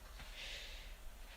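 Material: Nothing is struck.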